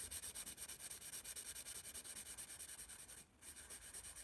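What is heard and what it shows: A graphite pencil rubs quick shading strokes across the page of a spiral paper sketchbook marked "ASI," making a bright, papery scratching hiss. About 28 rapid back-and-forth strokes pulse steadily, with a brief pause near the 3.3-second mark before the shading resumes.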